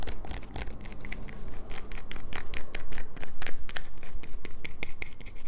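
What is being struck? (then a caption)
Bar of soap. A solid light-blue bar of soap is scratched with long nails, shavings collecting on a paper towel beneath it. Quick, dry scraping strokes repeat in an uneven rhythm, each a short crisp scratch with bright, hissy texture over a low background rumble.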